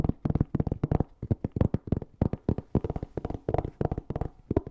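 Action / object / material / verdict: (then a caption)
tap / fabric-covered hard-shell EVA zipper case / EVA foam / none. A closed, hollow black Ugreen hard-shell EVA zipper case, covered in fabric, is held flat and tapped and scratched with fingernails in a rapid, uneven run of short taps. Each tap is a dull, hollow thud with a low body and very little high brightness, dying away almost instantly, with faint scratchy texture between the taps.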